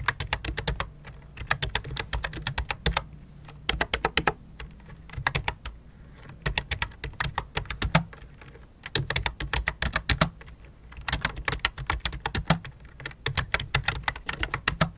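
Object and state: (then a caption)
Plastic computer keyboard. Fingertips type on a full-size white and light-blue plastic computer keyboard with a hollow plastic body. Bursts of rapid, sharp key taps come in runs separated by brief pauses, each tap a bright click over a low hollow thump that dies away almost instantly.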